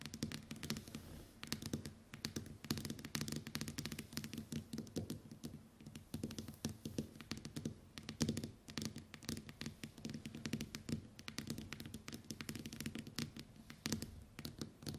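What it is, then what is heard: Smartphone glass screen tapped with nails. Long white acrylic nails rapidly tap the glass touchscreen of a smartphone lying flat on a wooden table. A dense, continuous patter of quick, dry clicking taps plays over a faint steady low hum, each tap dying away almost instantly.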